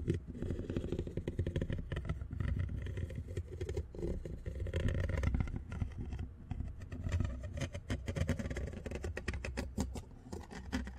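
Metal tweezers held in the fingertips scratch and tap across the large, rounded black metal mesh grille of a condenser microphone with a hollow head. The result is a continuous, dense run of close, boomy scraping and tapping that is heavy in low rumble, with fast rattling ticks throughout.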